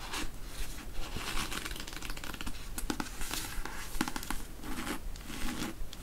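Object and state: Paperback book, pages riffled and cover scratched.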